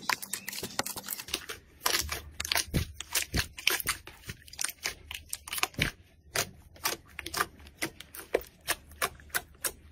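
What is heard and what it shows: A large mass of soft pink fluffy slime in a clear plastic tub is pressed, poked and squeezed by fingers and knuckles. This makes a rapid series of sharp, bright crackling pops and wet clicks, with a faint low hum underneath.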